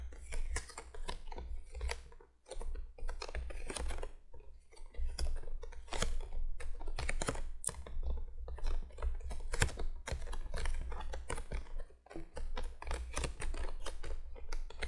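Long fingernails of both hands tap quickly on the top of a printed cardboard box lying flat. The result is a dense run of short, dry, bright clicks with brief pauses near 2.5 and 12 seconds, over a steady low hum.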